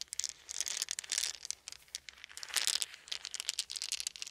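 A handful of small, round, solid wooden beads is held in cupped hands over a fuzzy blanket while fingertips roll and shake them together. It makes quick, dry, bright clicking and rattling in dense bursts with almost no low end. The clicks stop short with no lingering ring.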